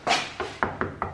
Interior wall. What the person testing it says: So that's solid. That's not getting knocked down, is it?